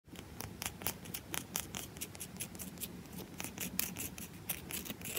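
Long acrylic nails tap and scratch the flat top and edge of a round, solid bar of soap held in one hand, with the audio sped up. Rapid, crisp clicks and bright scratchy strokes follow each other closely over a low, steady rustle.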